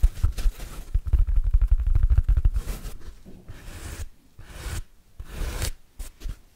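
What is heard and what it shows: A large, oval, yellow sponge of hard, porous synthetic foam, stiff, solid and dry, is held in both hands close to the microphone while fingertips and short nails scratch and squeeze its pitted surface. Quick, dense, rumbling scratches fill the first three seconds, then give way to quieter, separate rasping swipes and squeezes with brief pauses between them.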